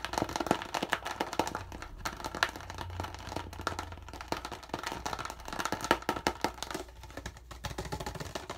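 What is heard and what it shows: Fingertips squeeze, crinkle and tap the thin walls of an empty, hollow, medium-size clear PET plastic water bottle with a yellow cap and a partly peeled label. Dense, rapid crackles and sharp clicky taps with bright plastic crinkling ride over a steady low hum, each snap dying away almost instantly.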